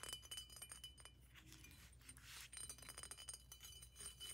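Long nails tap quickly on a large hollow glass water pipe with a thick green glass base and a decorated tube, striking the base, the bottom and the tube. The taps come as quick, bright glassy clinks, each with a brief high ringing tone near 3 kHz that fades almost at once. A softer brushing stretch near the middle gives way to more rapid clinking.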